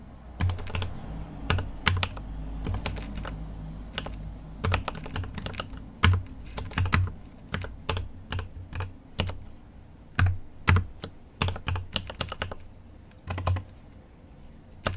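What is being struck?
Mechanical keyboard with plastic keycaps in a metal case.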